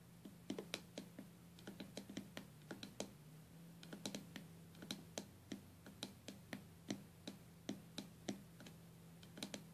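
Long gold-tipped acrylic nails tap and scratch across the glass lid of a small lidded box with white-purple stained glass panels joined by metal came lines. About three dozen quick, bright, clicky taps come in uneven bursts with very short ring, over a faint steady hum near 200 Hz.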